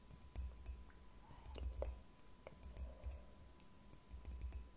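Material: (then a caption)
Ceramic. Long painted nails tap and scratch the outer wall of a white ceramic "Relax-Tasse" mug, which is hollow, appears empty, and is held upright in both hands. The sound is quiet: soft, irregular ticks and brief clinks with little ring, over a low, muffled thumping and a faint steady tone near 1 kHz.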